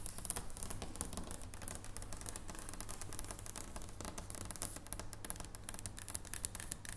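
Long blue-painted nails tap quickly on the top of a large, unwrapped solid dark chocolate bar lying flat on a wooden table. The result is a steady stream of short, dry clicks with crisp, bright edges that die away almost instantly, over a constant low hum.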